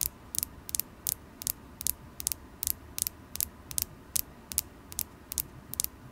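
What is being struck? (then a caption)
Polished carnelian stone point tapped with acrylic nails. A solid polished carnelian crystal point, held in the fingers, is tapped with long acrylic nails. Twenty-one sharp, bright clicks, many in quick double taps, land in an uneven rhythm. Each is very short and dry over a faint low hum.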